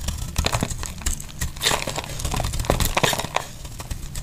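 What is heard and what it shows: A metal utility blade shaves thick flakes off a solid, oval, dry yellow soap bar held in the hand. The clip is a steady run of dry, crisp, crackling scrapes and crumbles, with bright edges over a soft low thud. Each cut ends quickly as the flakes come away.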